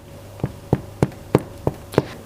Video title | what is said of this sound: Пушистый вкусный ХЛЕБ как в лучшей ПЕКАРНЕ. Самый изумительный рецепт. Просто как дважды два! | сейчас совершенно другой звук как звук барабана или звук пустоты